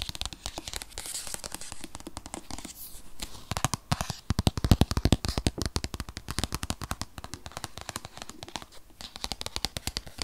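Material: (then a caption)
Paperboard. Fingernails of both hands tap and scratch a rigid, tablet-sized white paperboard box that holds an 8th-generation iPad (2020). A fast, uneven run of short, dry taps with a low, hollow thump is layered over a crinkly scratching texture, and each tap dies away almost at once.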